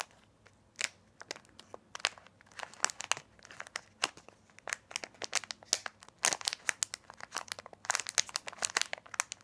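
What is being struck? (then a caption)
Small sealed plastic candy pack. A small, sealed plastic snack pack full of candy corn is held between the fingers and thumbs of both hands and squeezed and rubbed to make it crinkle. Dozens of quick, sharp crackles and crinkles come in irregular bursts, bright and hissy with almost no low end. Each snap stops almost instantly.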